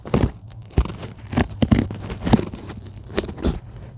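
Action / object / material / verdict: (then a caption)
scrape / polyethylene packing foam sheet / polyethylene foam / none. Long glittery acrylic nails scratch and tap the surface of a flat, white polyethylene packing foam sheet that lies on a table, soft and solid. Each stroke gives a soft, dull, crinkly scratch or tap, heavy in the lows, with no ring after it.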